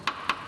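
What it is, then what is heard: Sound vehicle body steel. Three light taps of the flat plastic end of a corrosion assessment tool on a steel vehicle body panel give short, bright clicks that die away almost at once, centred near 1 kHz with no low thud. The panel sounds like good metal, not the duller sound of excessively corroded or filler-treated metal.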